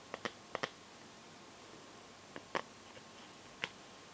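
Long painted nails tap the back of a smartphone in a clear plastic case filled with liquid glitter. Seven short, dry clicks land in loose pairs and singles against a quiet background, each a bright, crisp tick that dies away almost instantly.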